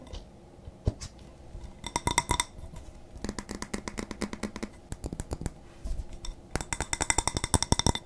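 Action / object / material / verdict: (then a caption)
tap / glass candle jar filled with wax / glass / none. A medium glass jar candle with a paper label and a lid, filled with solid wax, is held in the hands close to the mic and tapped on its sides and lid with fingertips and nails. The taps come in quick irregular bursts of short, bright clicks and clinks that stop almost at once, with a low thud in some of them.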